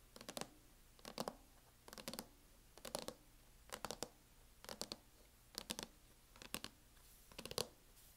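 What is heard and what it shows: Long fingernails tap and scratch the lid of a closed MacBook in a teal, matte, plastic hard-shell case, with some tapping near the front edge. About nine short bursts of quick, dry, clicking taps repeat at a steady pace, each bright and crisp with almost no ring, over a quiet background.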